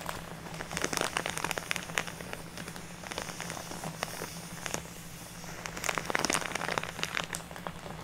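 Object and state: Plastic bag of artificial snow.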